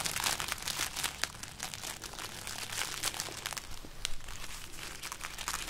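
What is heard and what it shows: Fingertips and long nails scratch and crinkle the hollow, brittle pods of a string of dried red chili peppers held up in one hand. The result is a continuous papery crackle of many quick, bright, dry ticks with almost no ring, over a faint low rumble.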